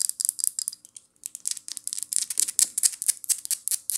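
Long painted acrylic nails tap and scratch a small amber (brown) glass rose water spray bottle with a white plastic pump top and red label, apparently filled with liquid and held in both hands. About twenty quick, bright clicking taps and scratchy strokes come in a busy, uneven rhythm, pausing briefly near the one-second mark. Each tap is crisp and high-pitched with almost no ring or low end.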